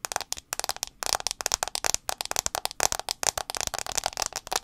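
Long acrylic nails tap rapidly on the black glass screen of a handheld iPhone 6s, a small solid device held sideways with the screen facing out. Dense clusters of sharp, bright clicks with almost no ring follow one another in quick, uneven bursts, with very little low end.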